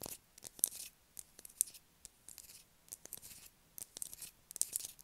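A solid blue bar of soap held in the hands is scratched hard with long acrylic nails, shaving off bits of soap that fall away. The sound is a series of quiet, dry, bright scraping and scratching strokes with very little low end, each dying out almost at once, separated by short pauses.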